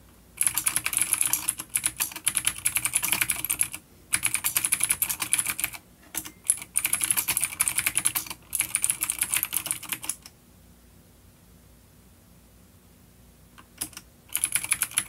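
Rapid fingertip typing with both hands on a full-size black plastic vintage mechanical keyboard with grey keycaps, a coiled cable, and clicky vintage blue switches (an A-grade unit), resting on a wooden desk. Bursts of bright, crisp clicks come in runs separated by short pauses, then a long near-silent gap broken by a couple of taps before typing resumes at the end.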